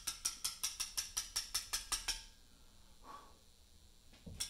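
A carver leans over a large, solid Portland limestone memorial slab and taps a chisel into its surface with a mallet. A quick, steady run of twelve sharp, bright clicks dies away in quiet. A faint soft sound follows, then one final tap.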